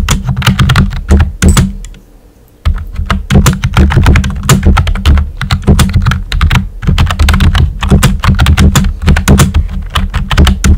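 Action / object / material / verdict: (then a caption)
tap / plastic computer keyboard with round plastic keycaps / plastic / none. Fingertips with short nails type on a full-size, hollow-bodied pink plastic computer keyboard with round white typewriter-style plastic keycaps. A steady stream of quick, clacky key taps carries a deep hollow thunk under each stroke. The typing breaks for a brief pause about two seconds in, then resumes.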